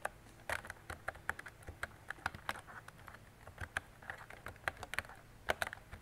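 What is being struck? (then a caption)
Plastic mechanical keyboard. Fingertips with long decorated nails type on a mint-green retro mechanical keyboard with round plastic keycaps and a hollow plastic body. The result is a steady run of quick, short, clacky keystrokes with a hollow mid-range tone and bright clicks. Each keystroke dies away almost instantly against a quiet background.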